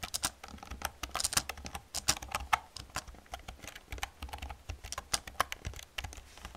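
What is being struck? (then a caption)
Plastic computer keyboard. Fast typing with long painted nails and fingertips on an old black plastic computer keyboard with hollow plastic keys produces a rapid, uneven stream of sharp, bright clicks and clacks. Each tap is crisp and dies away almost instantly, with a faint low thump under the hollow rattle of the keys.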